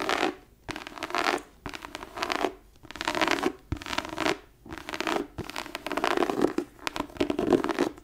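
Long nails scratch the embossed top cover of a thick tooled-leather book lying flat on a desk, its page block visible. Repeated rough, dry scratching strokes come in bursts separated by short pauses, with a mid-range body and airy high-frequency texture.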